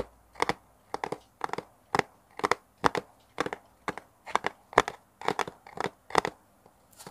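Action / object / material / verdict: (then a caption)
tap / small kraft cardboard box / cardboard / none. A small, hollow brown kraft cardboard box is held close to a mini mic and scratched and tapped with fingernails. Short, dry, crackly bursts come in a steady series with near-silent gaps between them. Each burst is mostly midrange, with brighter upper edges, and dies away almost instantly.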